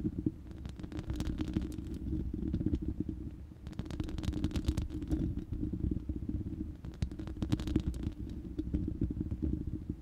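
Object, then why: Round steel mesh microphone grille. Long manicured nails of both hands scratch and tap the uncovered, hollow, round steel mesh grille of a large studio microphone. A dense, boomy low rumble runs throughout, and rapid clicking taps with bursts of bright, crackly scratching come and go in waves.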